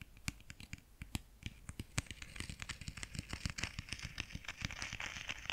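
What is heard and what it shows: Fingertips tap and rub the textured cloth front cover of a closed grey clothbound Frankenstein hardcover held in one hand. Quick, dry taps with a soft low thump and a bright crackle come in rapid succession, mixed with a scratchy rubbing that grows denser toward the end. Each tap dies away almost instantly.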